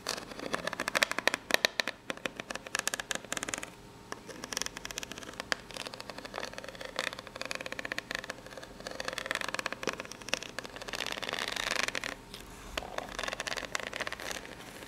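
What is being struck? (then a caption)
Corrugated cardboard box. Long pink-polished nails scratch rapidly across the ribbed face of a corrugated cardboard box, which is probably empty and hollow. The sound is a dense, continuous run of dry, bright scraping and ticking, with almost no low end. The short strokes come in quick bursts, with brief quieter gaps around 4 and 12 seconds.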